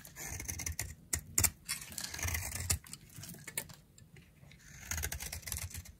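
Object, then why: Round bar of soap shaved with a knife blade. A solid, dry, round pink soap held in a palm with long nails is shaved with a utility knife blade. Irregular bursts of crisp, dry scraping and shaving are heard, bright and hissy on top with soft low thuds underneath. Each stroke dies away almost at once.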